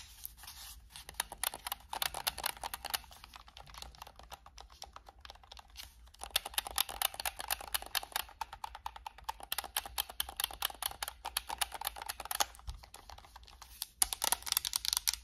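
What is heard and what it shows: Long acrylic nails rapidly tap and scratch the hollow plastic shell of a white and black PS5 controller with purple thumbstick caps. The result is a dense, bright patter of sharp clicks with scratchy texture and almost no low end, broken by brief pauses and ending in a louder flurry.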